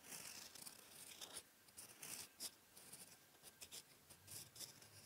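A steel fountain pen nib, held in the fingers, writes on a flat sheet of lined writing paper on a desk. It makes a series of dry, bright scratching strokes with short pauses between bursts. The sound is quiet and mostly high-pitched, with very little low end.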